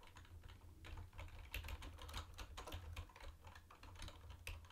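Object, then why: Plastic keyboard with round plastic keycaps. Fingertips of both hands type on a mint-green plastic retro keyboard with round white plastic keycaps. A steady, uneven stream of short, bright plastic clicks and clacks plays over a constant low hum.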